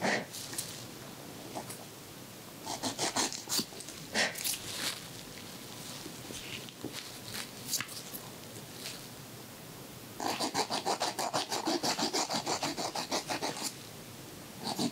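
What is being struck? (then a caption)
Emery board on fingernails. A white emery board files the edge of a fingernail as one person holds another's finger. The clip is heard as repeated bright rasping strokes, scattered at first and then a fast steady run of scrapes near the end, over a quiet background.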